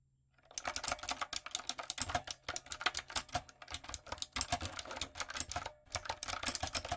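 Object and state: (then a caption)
Mechanical keyboard with round plastic keycaps. Fingertips and long nails type quickly on a light-up, typewriter-style retro mechanical keyboard with round plastic keycaps. The result is a dense run of bright, dry clicks and clacks with almost no ring. Brief pauses break up the bursts of typing.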